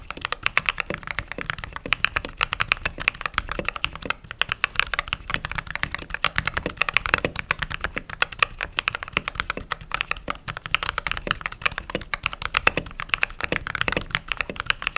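Fast typing with fingertips and long nails on a white/cream mechanical keyboard with plastic keycaps produces a dense, steady stream of sharp, bright clacks. Each keystroke is very short and dry, with almost no low end.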